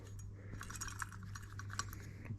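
A metal turbo wastegate, removed from the turbo setup of a 1.8T-swapped MR2, is shaken by hand and gives a small, light clinking rattle from a loose part inside, over a steady low hum. The rattle comes from a small grub screw that had come out inside the gate; the gate leaked through the screw's hole, which caused the engine's overboost.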